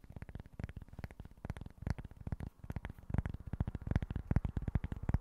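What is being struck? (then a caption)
Small cork board. A small, flat, rectangular speckled cork board with a barcode sticker is held in both hands before a microphone and scratched and tapped with short fingernails and fingertips. The result is a quiet, dense, irregular patter of dull, soft taps that are mostly low and die away almost instantly. The tapping grows slightly louder and busier toward the end.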